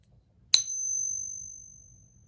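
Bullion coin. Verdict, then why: Fake. A counterfeit silver eagle bullion coin, likely brass, is pinged for comparison against a real one, giving a sharp metallic strike followed by a single thin, very high ringing tone. The tone wavers slightly and fades out over about a second and a half against a quiet low background rumble. The coin fails the ping test.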